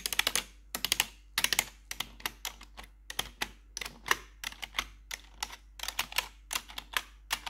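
Metal claw nails tap and click the keys of a black plastic RGB backlit computer keyboard. Quick clusters of sharp, bright clacks come in bursts with short pauses between them, each click dying away almost instantly over a faint steady low hum.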